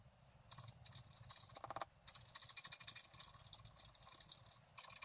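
A wooden stylus scratches across a flat, black-coated scratch art card lying on a table, working on the flowers and grass at the bottom. The sound is a quiet, dense run of dry, bright scratching strokes with a faint low rumble beneath, pausing briefly near the start and end.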